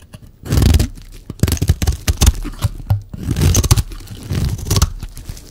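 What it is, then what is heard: Bar of dry soap being scraped. A solid, oval, dry red bar of soap held in the hand is shaved and scraped with a metal utility-knife blade. Dry, crunchy scraping strokes come in uneven bursts, each with a rough, tearing texture. The strokes stop sharply, with little ring between them.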